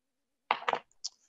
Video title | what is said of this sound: Webinar: Microflex Advance Application & Demos - Shure | reflective surface and the sound is coming back off it